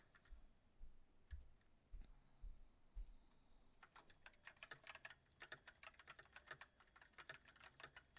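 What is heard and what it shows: Fingertips of both hands type on a full-size mechanical keyboard with white plastic keycaps on a silver metal frame, its backlight turning on partway through. A few soft, low thumps and scattered taps open the clip, then about halfway through quick, uneven clacky keystrokes with short bright clicks take over and continue to the end.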